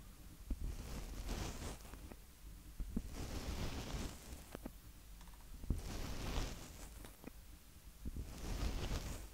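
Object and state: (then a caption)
Plastic handheld audio recorder, mic capsules tapped and rubbed. Fingertips from both hands tap and rub the two mic capsule heads on top of a small black hollow plastic Tascam DR-05X handheld audio recorder, in direct contact with the microphone. Heavy low, boomy rumbling swells in and out with scratchy rubbing bursts, broken by six sharp, dry taps.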